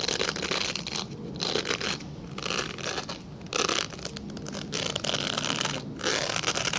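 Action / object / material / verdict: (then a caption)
scrape / glycerin soap bar / glycerin soap / none. A translucent solid glycerin soap bar is scratched and scraped with fingernails, leaving visible scratch marks on its surface. Bright, crunchy, rasping strokes come in repeated bursts separated by brief quieter passes.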